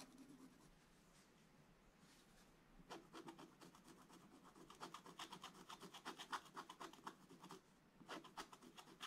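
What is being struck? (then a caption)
Coated scratch-art paper page and wooden stylus. A wooden stylus scratches fine details into a black coated scratch-art paper page in a book. After about three seconds of near silence, quick, dry, bright scratching strokes begin at roughly four per second. They rise and fall in loudness and pause briefly before the final burst.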